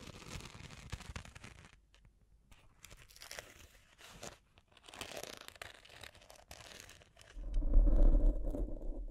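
Long painted fingernails scratch and tap the sparkly surface of a cylindrical makeup brush holder, about 20 cm long and likely hollow, covered in dense glitter rhinestones and held horizontally in both hands. The result is a crunchy, crinkling scratching with bright, gritty sizzle that comes in uneven bursts separated by brief quiet gaps. Near the end it swells into a louder, fuller rubbing with a low rumble.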